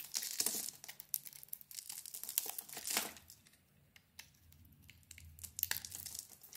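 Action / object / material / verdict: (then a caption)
scrape / bar of soap / soap / none. A utility knife blade carves and scrapes crumbly shavings from a handheld solid pink bar of soap with a dotted print and a white interior. Dense, bright crinkling scrapes fill the first three seconds, then thin out into quieter, scattered scratches and a few sharp cuts.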